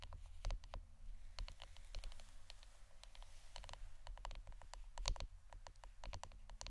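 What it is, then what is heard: Wooden incense holder, tapped. Fingernails tap on the wooden part of an incense stick holder, giving a quick, irregular run of short, dry, clicky taps with bright edges. Each tap dies away almost at once over a steady low rumble.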